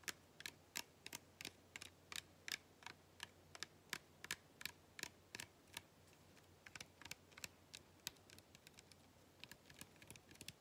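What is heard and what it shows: Long painted fingernails tap and scratch the sides of a small clear plastic (PET) cola bottle with a white cap, partly full of dark soda and held in both hands. The result is an irregular stream of quiet, sharp, bright clicks that die away almost instantly, with a faint low hum underneath.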